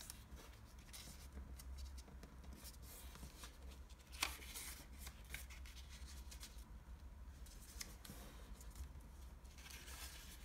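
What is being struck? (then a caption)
Thin origami paper sheet. Fingertips fold a single dark navy blue origami sheet of Japanese traditional paper on a wooden table and rub the creases flat. Soft, papery crinkles and dry rubbing swishes continue throughout, with a sharper crackle of the paper just after four seconds. A steady low hum sits underneath.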